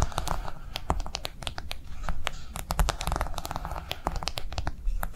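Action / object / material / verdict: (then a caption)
tap / silicone phone case / silicone / none. Long nails tap quickly on a pink piggy-themed silicone phone case with a soft, wavy raised surface lying on a table. The result is a rapid, steady stream of short, dry clicks with crisp bright edges and almost no ring, over a constant low hum.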